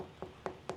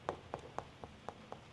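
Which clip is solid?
The second.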